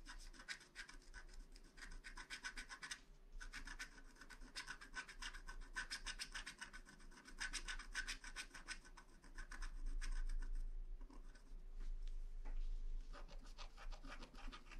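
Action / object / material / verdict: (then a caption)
scrape / wax-coated paper scratch card scraped with a wooden stylus / coated paper / none. A wooden stylus scratches a moon shape into a flat black wax-coated paper scratch art card with short, quick strokes. The result is a rapid, steady run of dry, bright rasping scrapes, broken by brief pauses near 3 and 11 seconds, over a faint low hum.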